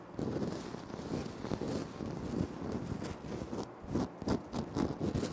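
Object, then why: Granite floor tile. Fingertips scratch and tap on a flat, solid, speckled granite floor tile. A steady, dry scratching rustle gives way to a run of separate, short, dull taps toward the end, each dying away almost at once with little ring.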